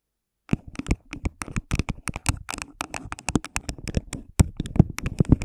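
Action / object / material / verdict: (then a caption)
tap / thin plastic cup over a microphone / plastic / none. Long pink nails tap and scratch around the sides of an empty, hollow, thin clear plastic cup placed over a microphone head. After half a second of silence, a fast, irregular run of dry clicks and short scratches follows, each with a dull low thump and no ringing, growing denser and slightly louder toward the end.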